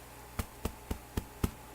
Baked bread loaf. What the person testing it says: if it sounds hollow on the bottom it's done